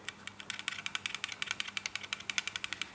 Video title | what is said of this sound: Positive Crankcase Breather Hose Replacement, Ford Mondeo Mk3 2L Duratec | you can hear like a little ball that's your little valve